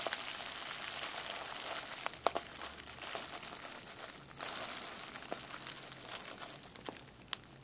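Folded clear plastic bubble wrap is handled, its air-filled bubbles pinched and popped between fingertips and thumbs. A soft, bright crinkling rustle runs throughout, broken by short, sharp pops, the loudest near the two-second mark. The pops are dry and die away almost instantly, with very little low end.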